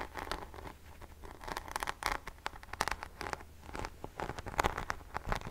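A rhinestone- and pearl-studded paddle hairbrush with a silver handle is held in one hand while long fingernails of the other hand scratch across its rhinestone back close to the microphone. The sound is a quick, dense run of dry scratching and clicking, with many short gritty strokes and a faint low hum underneath.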